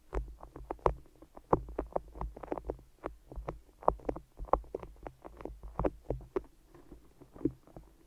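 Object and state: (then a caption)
Sticky tape-wrapped microphone. Fingers tap and peel on the sticky tops of tape-wrapped microphone ears. The result is a steady run of short, dry, tacky clicks and pops centered in the midrange, with a faint low hum underneath.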